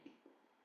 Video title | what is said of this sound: Cours de cuisine : TARTE TATIN DE POIREAU & SALADE PROTEINEE | vous allez savoir au son en tapant la pâte